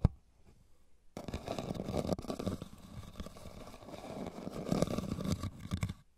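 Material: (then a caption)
Rattan. Fingernails scratch the woven base and sides of a hollow, tilted red rattan basket. After a sharp click and about a second of near-silence, a dense, continuous rough scraping begins, weighted toward the low and mid range. It swells a little toward the end and then drops away just before six seconds.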